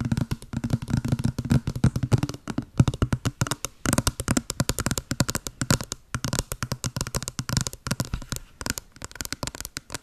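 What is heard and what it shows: Long blue acrylic nails tap and scratch a small, hollow white cardboard box with a blue pattern, held close to the mic. A fast, continuous stream of short, dry clicks and taps with a hollow low thump, layered with papery scratching.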